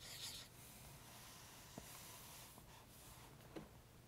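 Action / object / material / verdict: scrape / felt-tip highlighter on paper book page / paper / none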